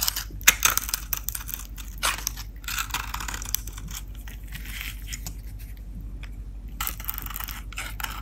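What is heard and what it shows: A blue-painted bar of Dalan soap, held in the hands, has a metal blade cutting and scraping dry flakes and shavings from its edge and face. Crisp, crunchy scrapes and short sharp cuts run through the clip, bright with a steady low hum underneath. The loudest bursts come near the start, then the scraping settles into a continuous crackle.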